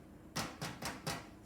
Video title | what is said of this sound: GROWING PATCH GRUB E6 BREAD | it should sound hollow when you tap it